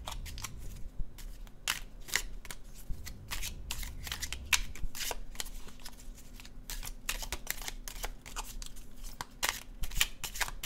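A red-orange laminated cardstock tarot deck is held in the hands and overhand shuffled, the cards sliding and flicking against each other. The result is a steady run of quick, dry papery flicks and soft slides, with bright crisp snaps over a low background rumble.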